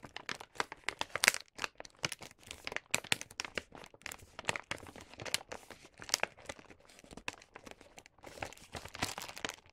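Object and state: Paper gift bag.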